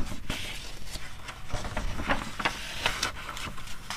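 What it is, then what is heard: Paper magazine pages scratched and flipped. Long red nails and fingertips rub and scratch the printed pages of an open glossy paper magazine, with pages flipped between spreads. Soft, papery rustling runs throughout over a low rumble, broken by short, bright scratches and crisp page flicks.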